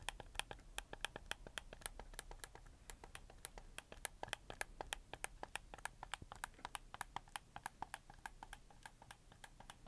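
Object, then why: Plastic game controller. Fingertips click the buttons and triggers of a red camo PS4 controller made of hollow plastic, held in both hands. The clicks come in a quick, uneven run of dozens of short, dry snaps with a bright plasticky edge and almost no ring, over a faint low hum.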